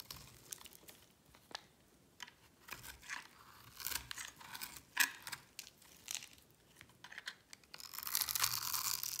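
A metal blade scrapes across a solid, palm-sized oval bar of dry white soap held in the hand, carving cubes and scoring grooves. Crisp, bright scraping and crunching strokes come in irregular bursts, each cut dying away almost at once. It ends in a louder, sustained stretch of dry scraping.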